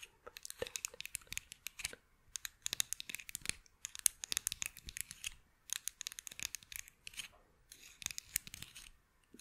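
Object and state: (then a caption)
Wooden toy scissors. Small solid light-wood toy scissors, held in one hand near the microphone, are scratched and tapped with the long acrylic nails of the other hand. Quick clusters of dry, bright scratching and sharp clicking taps come in bursts separated by short pauses, with almost no low end and no ringing after each tap.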